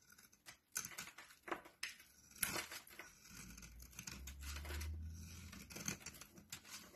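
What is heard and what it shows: A metal blade scrapes and carves crumbly chunks off a solid orange bar of soap held in both hands over a dark surface. Dry, bright scraping and crisp crumbling cuts come in uneven bursts, with a soft low rumble underneath in the middle.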